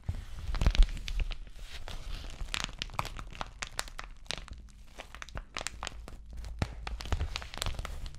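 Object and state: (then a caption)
Plastic bubble mailer. Long nails scratch down the bubbled plastic face of an empty white padded bubble mailer envelope held upright. The result is a steady run of dry, crinkly scratches and crackling ticks with bright, sharp edges over a soft low rumble, with no pause in the texture.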